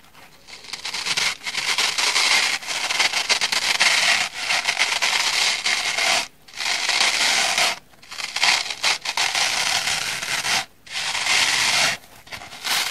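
A small, dry, soft, porous orange polyurethane foam kitchen sponge with a black scouring-pad layer is held in both hands and rubbed with the fingertips and long manicured nails. The result is a continuous bright, hissy scratching and rubbing sound. Brief pauses break it into separate bursts.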